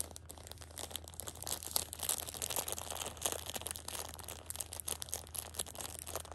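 Fingers scratch across the middle of the plastic wrap on a pocket tissue six-pack and squeeze its edge. The result is dense, bright crinkling with quick scratchy crackles over a steady low hum.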